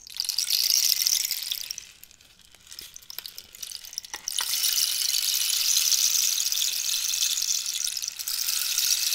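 A long, hollow cactus wood rainstick is turned from upright to horizontal, sending its inner pellets cascading in a bright, dense hiss like falling rain, while long nails scratch its surface. The rush fades into a quieter stretch of scattered ticks and clicks, then swells again into a steady, bright cascade that runs to the end with a brief dip near the close.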